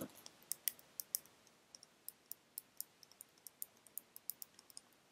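Long red nails tap on a small, full glass bottle of orange nail polish with a black cap, producing about 24 quiet, sharp clicks at an irregular pace. Each tap is bright and high-pitched with almost no ring, set against faint background hiss.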